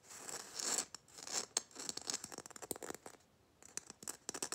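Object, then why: Glitter-coated plastic bauble. Fingernails tap quickly and scratch across the rough glitter surface of a small, hollow red Christmas ball ornament with a metal cap, likely plastic. Bright, hissy scraping bursts alternate with many sharp, dry clicks, all high in pitch with almost no low end.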